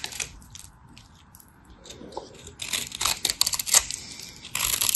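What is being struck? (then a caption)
Bar of soap. A white, textured bar of dry, solid soap is scraped and cut with a craft knife. Bright, crisp scraping and crunching sounds come in bursts, growing denser and louder toward the end.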